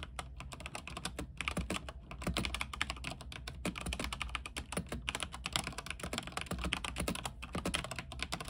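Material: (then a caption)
Plastic. Fingertips type continuously on a backlit mechanical keyboard with white plastic keycaps on a silver frame. Rapid, bright clacks and clicks follow one another over a steady low hum, with no pauses.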